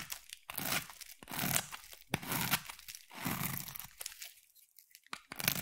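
A metal utility knife blade carves thin curls from a hand-sized solid pink bar of soap. Repeated crisp, crunchy scraping strokes rise and fade, with bright hissing shaving noise and a little low body, separated by short quiet pauses.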